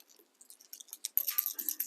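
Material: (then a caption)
Plastic. A fishing lure fitted with a new rattle insert is shaken; the insert comes flat and has to be shaken to activate it. Faint, high-pitched clicks and rattles start very quietly and grow into a denser, brighter rattle near the end, though the rattle stays barely audible overall.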